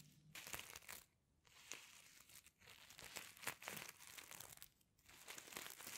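Fingers rub and flip the reversible sequins covering a flat fabric pencil case, making bright, crisp, crinkly rustling. The scratchy bursts come in several passes separated by brief quiet pauses, with sharp clicks as the sequins flip over.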